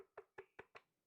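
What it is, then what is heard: Cracked slag piece that sounds hollow. A cracked lump of slag is tapped four times, giving short, dry knocks with a mid-pitched tone that die away almost at once. It sounds hollow because of the crack running through it.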